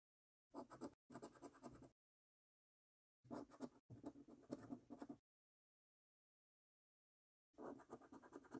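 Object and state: Coin scraping a latex-coated paper scratch card.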